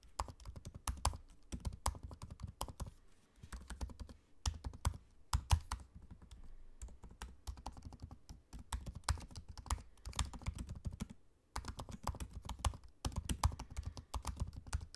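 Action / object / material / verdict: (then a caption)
tap / laptop keyboard with plastic keys / plastic / none. Fingertips of both hands type on the low-profile black plastic keys of a space-grey aluminium laptop. Quick, soft, low-pitched clicks and thumps come in rapid bursts separated by short pauses, each keystroke dying away almost at once.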